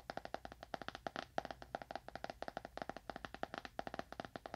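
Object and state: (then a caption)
Leather-bound book. A solid, dark leather-bound book, held upright near a binaural microphone, is tapped fast with the fingernails of one hand. About 34 quick, dry clicks sound in uneven bursts, each with a hollow midrange tone near 690 Hz and almost no ring.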